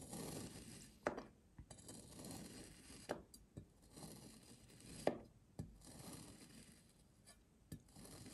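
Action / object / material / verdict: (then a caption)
scrape / kinetic sand shape cut with a steel knife / kinetic sand / none. A steel kitchen knife blade presses down into a hand-sized, solid, dense seahorse shape of yellow kinetic sand lying on a white surface, slicing it into thin cuts while other sand shapes sit still nearby. Each cut makes a soft, gritty crunching scrape, punctuated by sharp, dry clicks about every two seconds that die away almost instantly.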